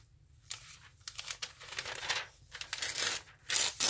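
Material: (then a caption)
Paper. A thin glossy-paper news magazine lies open flat on a table while a palm rubs and presses the pages to crease them, then the fingers pull and tear the pages along the fold. Bright, papery crinkling and brushing swells in irregular bursts, ending in sharper ripping tears.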